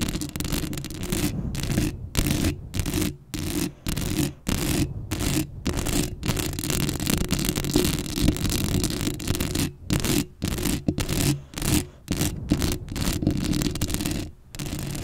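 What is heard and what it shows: Long acrylic nails scratch the hollow metal mesh grille of a black Blue Yeti microphone up close. The result is dense, rasping scratch strokes with a heavy low rumble and a broad hiss, broken by brief silent gaps between bursts.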